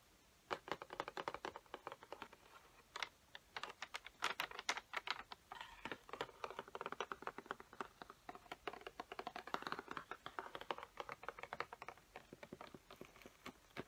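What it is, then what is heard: Cardboard marker box with plastic window. Long fingernails tap and scratch across a peacock-print cardboard Sharpie box with a clear plastic window and markers inside. The result is a quick, irregular run of many short, dry clicks with brief scratchy stretches, mostly mid-range with some brighter edges and almost no low end.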